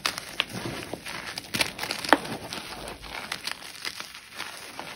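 White gym chalk chunks and powder are squeezed and crumbled between fingertips and palms inside a tray full of chalk powder, crushing and rubbing the solid, crumbly block. The result is a dry, bright crunching and crinkling with short, sharp crackles scattered over a soft gritty hiss.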